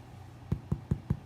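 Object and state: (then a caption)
Hollow-sounding baked sourdough loaf. A freshly baked sourdough loaf, just out of the oven, is knocked on its bottom five times. Each knock gives a short, dull, low thud over a faint background hum, with almost no ring. The hollow sound marks the loaf as baked through.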